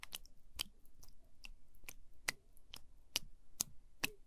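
A wooden spoon stirs and squishes orange sticky jelly pudding in a small translucent plastic cup close to the mic. It makes a steady series of short, sharp, sticky clicks, each with a bright, high crackle over a soft low thump. The clicks die away almost instantly.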